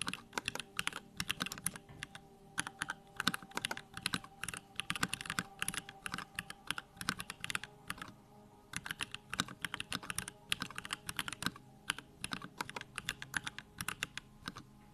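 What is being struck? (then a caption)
Plastic mechanical keyboard. Fingertips type rapidly on a small 65% Bakeneko65 mechanical keyboard with a plastic case, Durock lavender switches and pink-white plastic keycaps, resting on a wooden desk. A dense stream of short, bright, clacky keystrokes comes in bursts, each click dying away almost instantly, with a brief pause just past the eight-second mark before the typing resumes.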